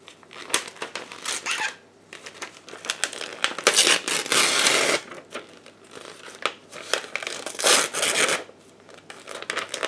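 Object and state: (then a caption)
Paper sheet being torn. A white sheet of paper is torn into pieces by hands in black lace gloves. Bright tearing and crinkling come in bursts of varying length, from sharp rips to longer rustling stretches, separated by brief quiet pauses.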